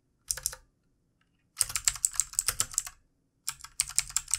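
Fingertips of both hands type on a full-size backlit plastic mechanical keyboard with plastic keycaps. Quick, bright clicks come in three bursts separated by silent pauses: a short pair, a long rapid run, then another run. Each keystroke is crisp and dies away almost instantly.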